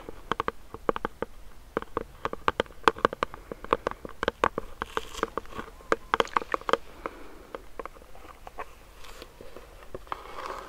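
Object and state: Plastic sanitizer pump bottle.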